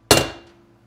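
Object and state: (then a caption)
Engine bearing fully seated in its case. A steel bearing is hammered into a warmed aluminum Triumph 650 engine case, and a single sharp, ringing hammer blow sounds with a bright metallic tone that decays over about half a second. The changed tone of the blow indicates the bearing is fully seated in the case.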